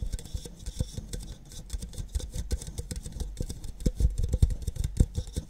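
Long nails tap and scratch the outer walls of two identical empty red plastic party cups held on their sides. The result is a quick, irregular patter of soft, dull, low taps with faint scratchy hiss, each tap dying away almost instantly.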